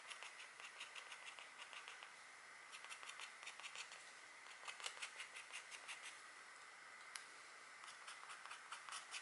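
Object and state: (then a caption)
Scratch art board being scratched. A stylus in a green holder, held by a hand with long painted nails, scratches lines into a flat, thin scratch art board, cutting through its black coating to reveal the gold foil beneath. Quiet, bright, dry scraping strokes repeat throughout, with a steady hiss near 2 kHz and almost no low end.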